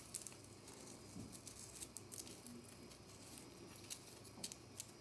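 Long natural nails scratch and gouge a small, round, white bath bomb of solid, dry compressed powder, flaking powder onto the hands. Quiet, dry crackly scraping and gritty crumbling are heard, with several brighter scratchy flicks standing out above the steady hiss. Each scratch ends almost at once, with no ring.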